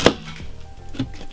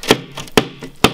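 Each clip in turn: First: standard plasterboard pierced by a hammer blow. Second: high-density plasterboard withstanding hammer blows.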